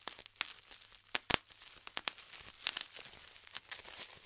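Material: Plastic.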